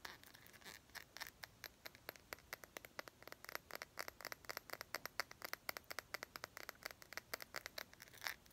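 A small clear glass perfume bottle with a gold cap is held in both hands and tapped rapidly with long nails. The result is a quiet, steady stream of sharp, bright clicks with almost no low end and very short ring, like light scratchy ticks on glass.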